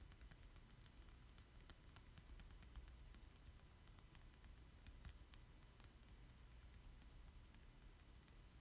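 Fingertips and short nails tap and trace across the back of a thin, solid black plastic Splatoon amiibo card held in both hands. Faint, scattered bright ticks and soft scratches sit over a steady low rumble and hiss, all at a quiet level.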